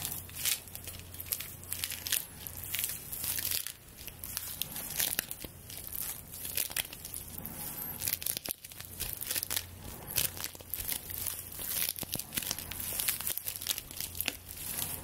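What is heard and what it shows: A straw broom is held horizontally over the mic while long nails grip and scratch its dry bundled straw handle. The result is a dense, bright, crinkly scratching and rustling of quick, short clicks that continues throughout, over a faint steady low hum.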